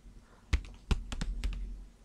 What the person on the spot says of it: These are packs of flour inside plastic, so that it's a kind of a bassy tapping sound.